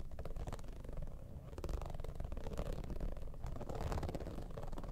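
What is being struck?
Soft zippered vinyl cosmetic bag.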